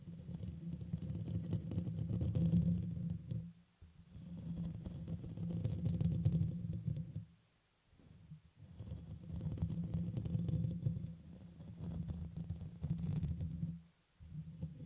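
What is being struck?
Metal mesh microphone grille.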